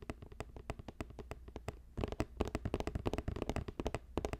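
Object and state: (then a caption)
Woven plastic basket. A hollow, box-shaped green basket about 20 cm across, woven from plastic strips, is held at the sides and tapped quickly with fingertips and nails, giving short, crisp clicks over a steady low hum. The taps are lighter and more spaced for the first two seconds, then turn louder and denser for the rest of the clip.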